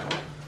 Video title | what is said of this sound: 천부동天符洞 제12강 5행 상생 2편 Daum 카페 | 이건 이제 말른 나무잖아. 이제 맑은 소리가 나잖아요.